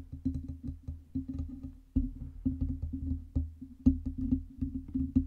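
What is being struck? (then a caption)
Metal USB microphone body and stand. Long red nails tap rapidly on the lower metal body and base of a black Blue Yeti USB microphone and its metal stand. The result is a quick, uneven run of short, hollow, wood-block-like knocks with a low, pitched tone around 266 Hz, each dying away almost instantly. A few taps land noticeably harder than the rest.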